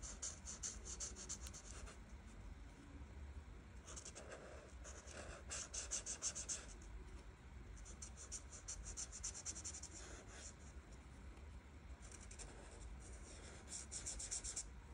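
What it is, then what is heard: Marker scratching on paper. The felt chisel tip of a plastic art marker, held in a hand with long red nails, rubs and scratches across a flat, solid printed paper coloring book page while coloring green leaves. Bursts of rapid, bright, scratchy back-and-forth strokes come and go over a steady low hum.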